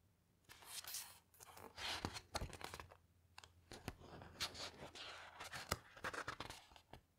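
Long-nailed fingertips slide along the heavy glossy paper pages of a large hardcover coffee table photo book lying open on a carpet, then turn a page that drops with a soft thud. Quiet, bright crinkling swishes and faint scratches come in uneven bursts, with sharp ticks and a low, faint hum underneath.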